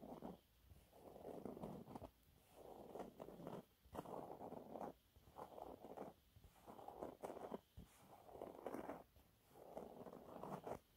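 A thin, flat, yellow textured cellulose sponge cloth is scratched with fingernails, giving bursts of dry, raspy scratching centered in the low mids with a faint high hiss. The scratching comes in repeated strokes separated by short quiet gaps.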